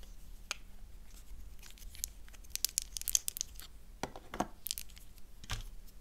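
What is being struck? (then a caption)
Thin slice of bar soap. A thin slice of black soap is squeezed, cracked and broken apart by fingers with long nails. Sharp, dry crackling snaps and brittle tearing crunches come in uneven bursts over a low, steady background hum. The bright, fast-fading cracks come in tight clusters with quieter crumbling between them.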